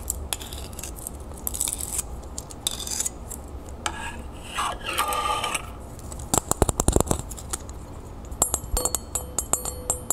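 A small, thin, solid, copper-toned flat round disc earring with a raised scale pattern is held in the hand and scratched and tapped with long painted nails. Soft, bright scratching swishes come first, followed by bursts of quick, sharp metallic clicks and taps over a low, steady background hum.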